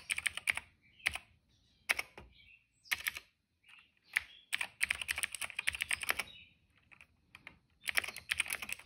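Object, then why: Plastic mechanical keyboard. Fingertips type on a retro-style cream plastic mechanical keyboard with black and purple keycaps. Bursts of quick, bright, clacky keystrokes come in clusters separated by short pauses, each click dry and short with almost no low end.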